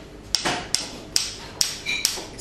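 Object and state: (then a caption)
Freshly poured Guinness pint, not yet settled. A pound coin taps a pint glass of freshly poured Guinness six times, giving short, dull, clicky knocks that sound as if the glass were plastic. The plastic-like sound shows the pint has not yet settled.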